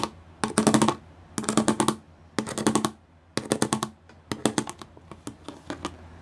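Glitter-painted nails and fingertips drum fast on a gray plastic sheet covered in pyramid studs. The result is short bursts of rapid, dry, clicky tapping with a bright edge, followed by scattered lighter taps toward the end.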